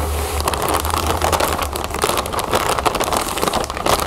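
Long nails scratch and squeeze a full, clear plastic bag of cereal puffs while fingers handle its zip edge, producing a continuous dense crinkling with many quick, bright crackles. A low hum sits steadily underneath.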